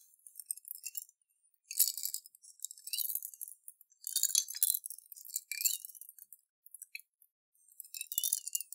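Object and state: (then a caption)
Glass jar of water and beads, shaken. A clear glass jar with a metal lid, holding water and beads, is turned over and shaken in both hands. Bursts of bright, high clinking and rattling come in uneven clusters with short pauses between them. The sound has no low end, and each click dies away almost instantly.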